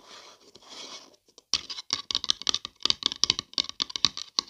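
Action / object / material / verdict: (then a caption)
tap / paper coffee cup / paper / none. Long dark nails scratch and tap the side and rim of a hollow, printed, empty-looking paper coffee cup held close to the mic. A soft, airy scratching runs for about a second, then after a brief pause gives way to a quick, uneven series of sharp, bright, dry taps and clicks with almost no ring.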